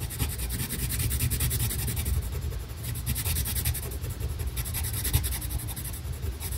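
A green colored pencil draws fine lines and small circular strokes on a flat paper coloring page. The sound is a steady, soft scratchy rubbing with quick, rhythmic stroke textures over a low, muffled rumble.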